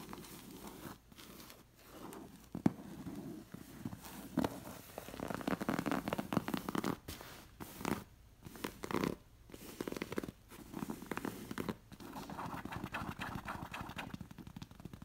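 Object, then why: Appliqué linen fabric cushion. Fingernails and fingertips scratch and rub the fabric of a linen cushion with an elephant appliqué. The sound is a soft, dry, scratchy rustle, mostly low-mid, coming in bursts of varying intensity separated by brief pauses, with a few sharper scrapes standing out.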